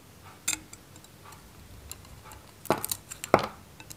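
A metal knife cuts slices and chunks from a handheld, solid, dry Godrej No.1 soap bar, which is white with a varnished red coating. Sharp, crisp cracks and snaps ring out against a quiet background. The louder crunches cluster near the end, with bright, short-lived edges.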